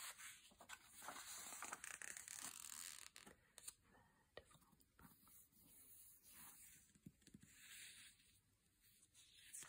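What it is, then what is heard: Glossy paper magazine. An open glossy paper magazine lies on a bed while its thin pages are rubbed and turned by hand with fingertips and long painted nails. Quiet, bright crinkling and rustling page-flip sounds come in an uneven series of short, dry brushes and scrapes with almost no low end.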